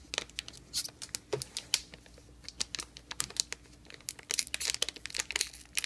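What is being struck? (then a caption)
Plastic shrink wrap on a rigid box. A Blu-ray box set sealed in thin plastic shrink wrap, solid and rigid, is scratched and crinkled by fingertips and nails on its top and spine. Dense, bright crinkles and sharp scratching clicks come in quick, irregular bursts, with almost no low end and no ring after each touch.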